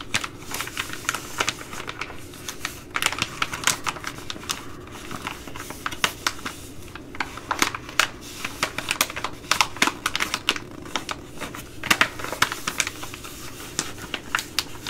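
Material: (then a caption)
Plastic laminate. Long glittery nails scratch a hand-sized, flexible Ready Rice pouch made of plastic/foil laminate, which is then bent and crinkled. Dense, rapid, bright clicks and scratchy crackles come in irregular bursts, each snapping off quickly over a faint steady low hum.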